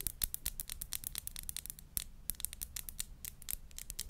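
Long acrylic nails tap and scratch the glass body of a small clear glass perfume bottle with a pink crown-shaped cap, held in the hand. A rapid, uneven stream of quiet, dry, bright clicks mixes with brief scratchy strokes. Each tap dies out almost instantly over a faint low hum.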